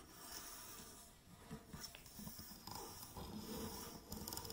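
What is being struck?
Aluminium tripod with tube legs.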